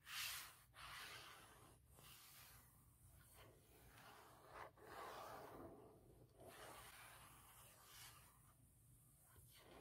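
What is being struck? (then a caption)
Hard plastic laptop shell case. Fingertips and nails slowly rub and scratch over a forest-print hard plastic shell case fitted on a MacBook Pro laptop lid. The result is a quiet, continuous, bright, hissy scraping that swells and fades in long strokes, with no distinct taps.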